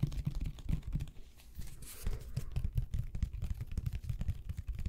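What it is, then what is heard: Plastic glue bottle. Fingertips and nails tap and scratch a medium white plastic squeeze bottle of glue with an orange cap, likely partly full, and its paper label, held close to the microphones. Quick, dull, low-pitched taps run in clusters, with a softer stretch of scratching and a brief bright hiss in the middle. Mouth sounds may be mixed in from being near the bottle.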